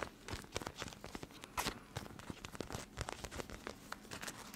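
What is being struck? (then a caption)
Plastic eye mask filled with gel beads. A clear plastic gel eye mask filled with teal beads is held upright while fingertips and nails press and scratch its surface, making the beads shift inside. The result is a dense run of quick, crinkly crackles and scratches with bright, papery highs and soft low thumps, close and quiet.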